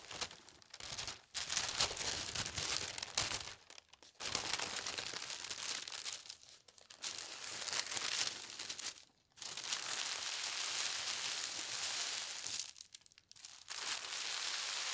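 A large, thin white tissue paper sheet with colorful dots, spread on a table, is smoothed by fingertips with long red nails. The result is a bright, dense crinkling and rustling that comes in long bursts separated by brief quiet pauses.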